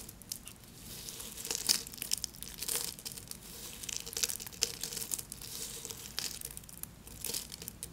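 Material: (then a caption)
Soap. Small, solid pink soap flakes resting on paper are crushed and snapped apart with fingertips and nails, then rubbed and pressed into smaller bits. A steady run of quiet, bright crinkling and crackling is heard, with sharper, dry snaps standing out now and then and almost no low end.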